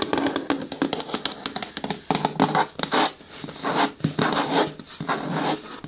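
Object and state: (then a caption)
Hard plastic bin. Long nails tap and rub along the side walls of a green hard plastic bin with a lid. Quick, dry taps with almost no ring come first, then broader scratchy rubbing strokes with a bright, hollow plastic edge.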